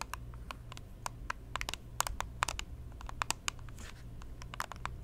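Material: Plastic.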